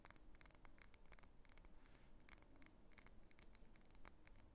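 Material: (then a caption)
Wax. Long nails tap and scratch the wax surface of a medium, solid pink wax pillar candle held in the hands as it is turned over. The result is a quiet, rapid stream of short, dry clicks and scratchy ticks with bright, high edges over a soft low rumble.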